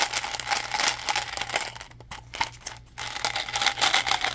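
Fingertips tap, grip and crinkle a small hollow blue plastic Mentos gum bottle with a plastic wrapper label. The result is a dense, bright crackle of crinkling and light tapping that dips quieter near the middle before picking back up, over a faint steady low hum.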